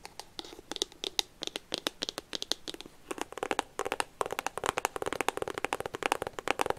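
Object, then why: Small cardboard box. Long painted fingernails scratch and tap a small, hollow white and pink iPhone cardboard box, possibly still plastic-wrapped, held close. About 40 quick, dry, crisp taps and scratches come in irregular bursts, bright and crinkly with almost no low end. Each one stops instantly with no ring.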